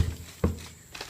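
Two dull, low knocks land on an old object, probably metal, inside an abandoned trailer, each a short thud with little ring. The object sounds empty.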